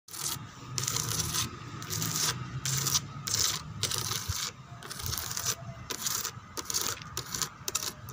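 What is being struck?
Molded plastic chair backrest.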